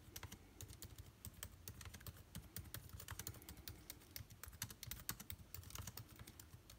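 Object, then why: Plastic laptop keyboard keys. Rapid typing on a backlit MacBook Air keyboard with plastic keys, struck with the fingertips of both hands. A fast, uneven stream of short, dry clicks with bright, crisp tops over soft low thumps, each tap dying away almost instantly.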